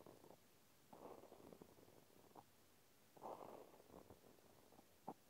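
A cotton swab scratches and pokes inside the round hole of a small pink plastic clothespin held in one hand. Soft, muffled scratching comes in short bursts with quiet gaps between them, centred in the low-mid range. A sharper little poke click lands near the end.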